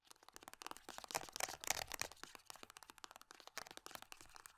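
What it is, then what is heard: Foil-laminate hand cream tube. A small silver foil-laminate hand cream tube with a barcode side is scratched and tapped by long nails across its crinkly surface. The result is a fast, irregular run of short, bright crackling taps and crinkles, with little low end and no ring after each touch.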